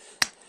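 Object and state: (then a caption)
Embedded rock, dull, no ring. A single strike on an igneous rock embedded in the ground sediment gives one short, dull, bright snap that dies away almost at once with no ring. The rock stays silent because it sits buried in the ground rather than resting suspended on other rocks.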